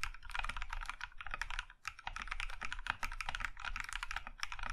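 Both hands type with their fingertips on a compact Iron165 mechanical keyboard with a maroon (plum) metal case and cream plastic keycaps. A fast, steady stream of short, crisp clacks with a low thock underneath fills the clip. There is a brief lull just before the two-second mark.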